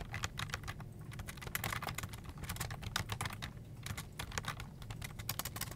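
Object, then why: Plastic computer keyboard. Both hands type fast with their fingertips on a full-size black plastic desktop keyboard with a hollow plastic body and keycaps, resting on an office desk. The result is a steady, dense stream of short, dry, bright key taps with a low, hollow thump beneath them, each tap fading almost instantly.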